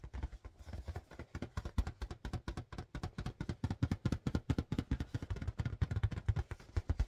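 Fingertips tap quickly but gently on a blue marble-pattern latex balloon, inflated with a balloon pump, producing a steady stream of about fifty soft, low, hollow thumps. Each tap is short and dull, with almost no ring and very little high-frequency content.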